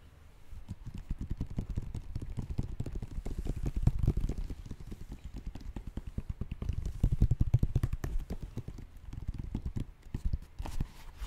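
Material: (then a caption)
Foam. Fingertips tap rapidly on the foam sole and synthetic upper of an empty galaxy-print Nike React Presto sneaker held in both hands. The result is a dense stream of soft, dull, low thuds with almost no ring, like muffled clip-clop.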